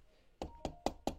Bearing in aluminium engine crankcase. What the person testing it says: ça sonne ça sonne bien dans le fond c'est que c'est bon